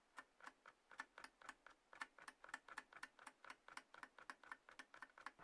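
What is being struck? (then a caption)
Small closed cardboard box. Long fingernails of both hands scratch and rub the sides of a small, closed, hollow white-grey cardboard iPhone box resting on a table. About 27 quick, dry, crisp ticks and scrapes come in an uneven rhythm, each dying away almost instantly. The sound is quiet, with a papery midrange and a bright edge.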